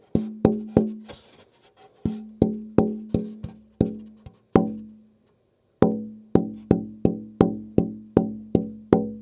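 A braced wooden OM-model acoustic guitar top is tap-tuned after its braces have been shaped and sanded. A series of sharp knocks, separated by short pauses, each rings with a clear fundamental near 220 Hz that tapers away. The top sounds good and well tuned.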